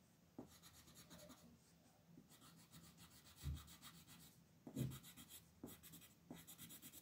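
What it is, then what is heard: Colored pencil shading on paper. A colored pencil held in the fingertips rubs and scratches across a flat paper coloring page on a table in steady shading strokes. The result is a quiet, dry, papery scratching with a bright, hissy edge, rising in short bursts with each stroke and a few soft, low taps.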